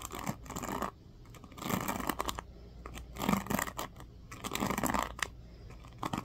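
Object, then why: Plastic paddle hairbrush with pin bristles. Fingertips strum and scratch across the teal-tipped pins of a black plastic oval paddle hairbrush held bristles-up. It makes bursts of dry, bright, scratchy rustling that swell and fade in uneven strokes, with quiet gaps between them.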